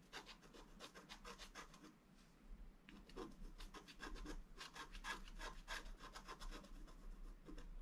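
A wooden stylus scratches repeated strokes across a flat black-coated scratch art card, working near the lower right of a drawn gate. Dry, bright rasping scrapes come in quick, uneven bursts, with a brief quieter pause around two seconds before the strokes resume and grow stronger. A steady low hum sits underneath throughout.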